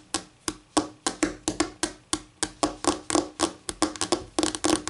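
Fingernails tap, scratch and rub quickly across a flat, solid white laminate tabletop. The result is a rapid, irregular run of sharp, dry clicks with a bright edge and a faint hollow note around 300 Hz. Each click dies away almost at once, and the clicks crowd closer together toward the end.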